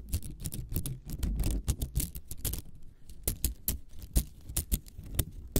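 A small hollow spiral cat toy of nested green and yellow plastic coils is held in both hands above the mic while long acrylic nails scratch, click and flick along the coils. The result is a dense run of quick, crisp plastic clicks and scratchy rasps with bright tops over a low, soft thump, each tick dying away almost instantly.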